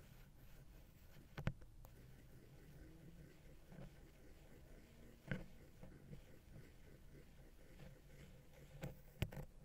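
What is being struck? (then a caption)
Small metal microphone capsule touched with a wooden pick. A wooden ear pick scratches and taps the right capsule head of the small, hollow silver metal X/Y microphone capsule on a Zoom H6. A soft, low, continuous scratching rubs along the capsule, broken by a few sharp, brief taps that thump low and die away almost at once.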